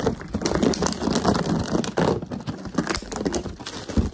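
A clear, hollow plastic water bottle, crumpled and apparently empty or nearly so, is held up while fingertips tap and scratch fast along its ridged sides and squeeze it. The result is a dense, continuous stream of quick crinkling taps and crackling scrapes with a hollow, mid-low body and only faint brightness. Each tap dies away almost instantly.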